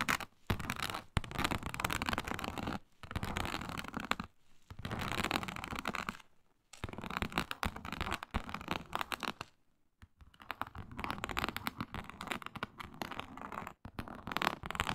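Long pointed nails scratch across a flat, iridescent faux snakeskin mat made of synthetic leather with an embossed reptile pattern. Dense, raspy bursts of scratching run in stretches separated by brief silent pauses, with a broad texture that reaches up into bright highs.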